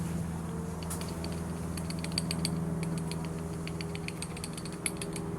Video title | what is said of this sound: Gimbal Bearing Replacement on 1987 Bayliner Cobra 2250 OMC 5.7 V8 | that's a bad knock on my bearing